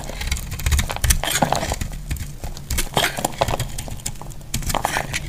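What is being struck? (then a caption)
Bar soap shaved with a metal blade. A solid, hand-sized dry white bar soap is held in the hand and shaved with a metal utility blade, with flakes falling off as it is scraped and cut. Dense, crisp scraping and clicking strokes with bright edges follow one another quickly over a steady low rumble.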